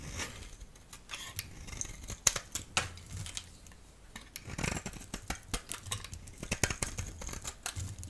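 A solid yellow rectangular bar of soap, held in the hand, is scraped into flakes with a utility blade. The result is a quick series of short, dry, bright scraping and crackling strokes with a soft rustle of falling flakes between them.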